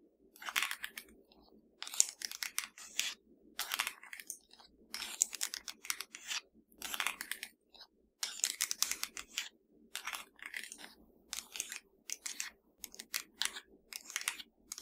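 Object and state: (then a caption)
Plastic remote control. A slim, hollow black plastic Fire TV remote is held in one hand and tapped and scratched with the long nails of the other hand. Bright, crisp clicks and dry scratchy rasps come in quick clustered bursts separated by short pauses, with almost no low end.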